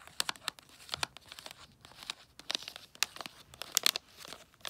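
Long nails tap on a long gift box wrapped in holographic tree-print foil paper with a red gift tag. About twenty quick, crisp taps make bright, crinkly crackles that die away almost instantly, with a faint rustle of the foil between them.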